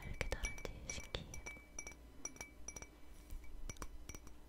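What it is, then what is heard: Ceramic cup tapped with fingernails. Long fingernails tap and clink on a small, hollow, empty white ceramic cup, the same cup throughout. A quick, irregular series of short, bright clicks rings with high glassy overtones over a low background rumble.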